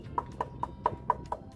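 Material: Steel.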